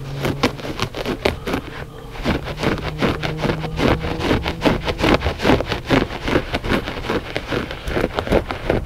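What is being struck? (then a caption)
Loop-pile textile rug. Short fingernails and fingertips of both hands scratch the pile of a flat gray loop-pile textile rug, solid and soft. The result is a fast, uneven run of dry, rasping strokes, each a brief broadband burst that dies away almost at once, over a faint low steady hum.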